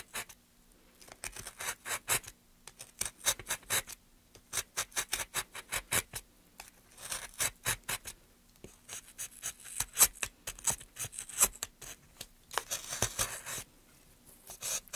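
A steel gouge, held with gloved hands, cuts a groove along a solid, light pine softwood plank. It makes dozens of short, bright, dry scraping strokes in quick runs separated by brief pauses, with a faint low hum underneath.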